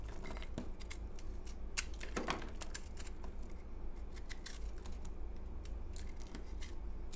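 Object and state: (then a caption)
Dry, crumbly bar of soap. A utility knife blade cuts into a solid, crumbly, pale green dried bar of soap held in the hand, crumbling off chunks. Short, dry, crisp crunches and scrapes come in quick irregular bursts with bright crackling edges, over a steady low hum.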